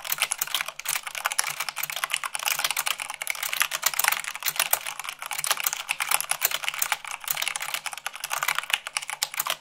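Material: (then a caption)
Plastic. Fast typing at about 98 words per minute, using fingertips and long nails, on a mechanical keyboard with white plastic keycaps on a black base. It produces a dense, continuous stream of sharp, bright clacks that decay almost instantly, with very little low end and no pauses.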